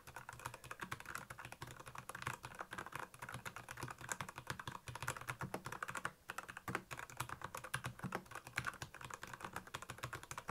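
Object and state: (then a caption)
Plastic mechanical keyboard. Fingertips type steadily on a black plastic Royal Kludge mechanical keyboard with backlit keys. The keystrokes come as a fast, continuous stream of short clacks, each with a low thock beneath a bright click. There are only brief pauses in the stream.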